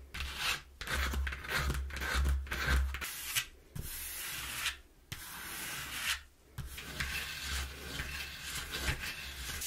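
Long painted nails and fingertips rub, scratch and tap the inner surface of a large, empty, hollow corrugated cardboard box that has been opened out flat-ish. Rough, bright scratching and sanding-like rubbing comes in uneven strokes over a low, hollow rumble, broken by a few short pauses.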